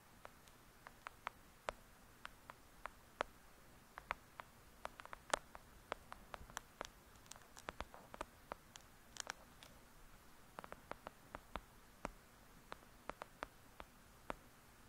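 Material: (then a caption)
Paper. Long pointed nails tap rapidly on the paper front cover of a thick paperback novel. Dozens of quiet, dry, clicky taps sound with no ring, in uneven bursts over a faint low hiss.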